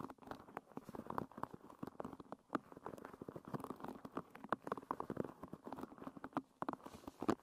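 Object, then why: Wooden pin hairbrush. Long red nails strum and scratch across the wooden pins of a wooden-pin hairbrush, making a fast, dense run of dry, clicky plucks. The sound is quiet and mid-range, with no lasting ring.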